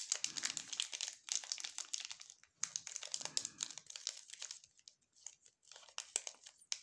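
Gloved fingertips squeeze and crinkle the red glossy plastic wrapper of a full, sealed Furor chocolate bar. The result is bright, dry crinkling in quick bursts with brief pauses, sharp crackles that stop instantly, and a soft low rustle in places.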